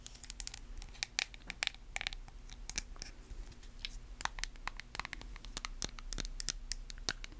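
Long nails scratch the label and tap the lid of a small white plastic face-mask jar. Many quick, bright clicks and dry scratchy rustles come in an irregular, fast run over a faint, steady low hum, with each tap dying away almost instantly.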